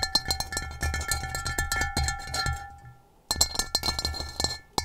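Long acrylic nails and fingertips tap and scratch the rough base of an upside-down, hollow, empty gray stone-textured ceramic bowl. Quick clicking taps and scratchy rubbing mix with a faint bright ring and a low thud. The sound fades into a brief near-silence, then the busy tapping resumes.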